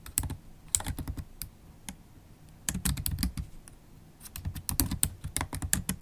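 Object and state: Plastic laptop keyboard being typed on.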